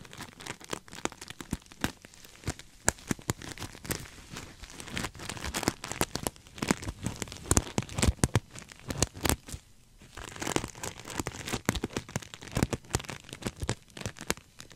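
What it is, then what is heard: Sequin-covered pillow. Fingertips and nails scratch and rub the sequins of a soft, stuffed, cream sequin-covered throw pillow held upright in both hands close in front of a microphone. The result is a dense, continuous crinkling and crackling, with sharp scraping bursts and quick clicks that swell and fade throughout, plus a brief quieter lull near the middle.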